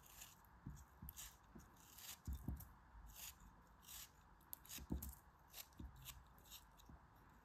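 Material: Kinetic sand.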